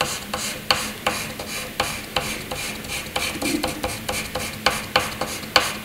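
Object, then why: Graphite pencil on paper sheet. A graphite pencil scratches across a sheet of white paper, drawing long curved hatching strokes. A bright, dry, papery rasp runs throughout, punctuated by sharp clicks as each stroke starts or the tip strikes the page.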